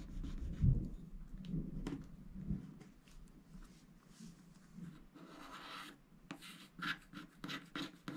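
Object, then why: Black-coated scratch-art paper scraped with a wooden stylus. A wooden stylus scrapes across the lower motifs of a flat, black-coated scratch-art paper sticker sheet held by hand. Soft, dry scratching and rubbing strokes come in short irregular bursts, with a low, muffled body and occasional brighter rasps toward the end. The strokes are quiet and stop quickly, with almost no ring.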